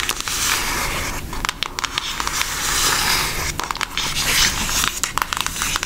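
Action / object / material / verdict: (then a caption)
tap / cardboard eyeshadow palette case / cardboard / none. Long nails tap on the flat case of a brown Hershey cardboard eyeshadow palette, producing quick, dry clicks over a steady crackly, scratching texture. The sound is bright and papery with very little low end, and each tap dies away almost instantly.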